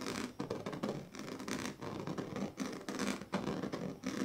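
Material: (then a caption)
Plastic. The tail of a pink plastic comb scratches back and forth across the strips of a large, flat woven plastic sleeping mat. It makes a steady run of dry, raspy scraping strokes, each a broad, hissy rasp with slight ridged ticking from the woven strips.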